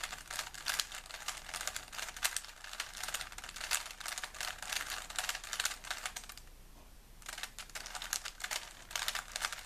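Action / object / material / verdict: scrape / plastic puzzle cube / plastic / none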